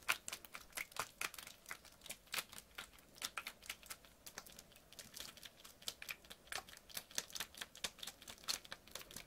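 A clear PET water bottle partly filled with water is squeezed, crinkled and shaken by hand. A rapid, uneven series of sharp, bright plastic crackles and snaps rises and falls in loudness, with very little low end and each snap dying away almost instantly.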